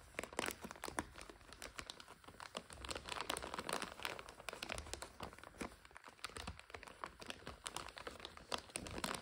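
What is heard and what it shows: A full plastic egg noodle bag with a white label on the back is held in hands while fingertips and long nails crinkle and squeeze it. A steady stream of sharp, bright crinkles and crackles rises and falls in short bursts, with little low end and no ring after each snap.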